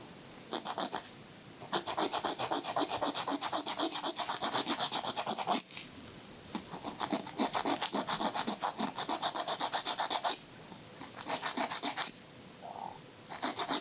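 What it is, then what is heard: Emery board filing fingernails. A thin white emery nail file rubs back and forth across the edge of a fingernail in quick, rhythmic strokes, making a dry, bright, scratchy rasp. The strokes come in bursts of several seconds separated by short quiet pauses, with almost no low-end sound.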